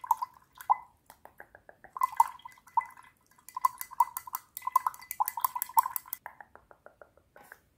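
A wooden paintbrush handle taps and stirs inside a small clear drinking glass printed with hearts and holding water. It makes a quick, uneven run of light glassy clinks pitched around 900 Hz with faint bright edges. Each clink dies away almost at once, with short pauses between bursts.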